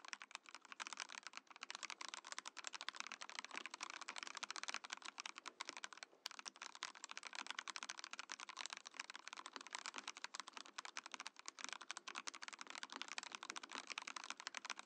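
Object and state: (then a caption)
Mechanical keyboard with acrylic case being typed on. A compact Mojo68 mechanical keyboard in a clear acrylic case with cream and orange plastic keycaps is typed on with the fingertips of both hands. Rapid, bright, clacky keystrokes run continuously with almost no low end, pausing only briefly near the middle.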